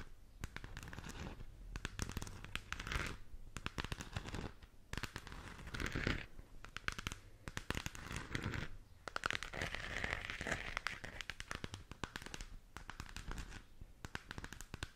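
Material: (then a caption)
Plastic. A glowing purple galaxy-print moon lamp, a hollow plastic sphere about a hand-span across, is held in both hands in front of the mic and scratched and tapped all over with long teal acrylic nails. Dense, crackly scratching and quick, hollow plastic taps come in bursts with short pauses between them. The sound carries a low resonant body under the bright scraping.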